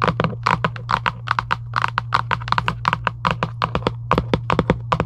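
Long acrylic nails tap quickly near the top edge of a hollow Giant UNO cardboard game box lying flat. A rapid, uneven series of short, crisp clicks carries a hollow papery knock around 1 kHz, and each tap dies out almost at once. A steady low hum runs underneath throughout.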